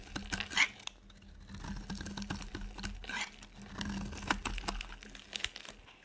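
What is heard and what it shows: A solid, dry, white rectangular soap bar held in the palm is chipped with a utility knife blade. Quiet, crisp scraping and cutting strokes crumble flakes away in a run of short, bright, crinkly ticks, with a few louder snaps, over a faint steady low hum.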